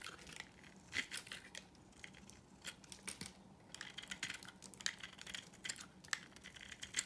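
A solid, dry, pink marbled rectangular soap bar held in the hand is carved with a utility knife blade into curling shavings. Bright, dry scraping and crisp crackles come in quick bursts, with sharp high clicks as the blade bites and shavings break away.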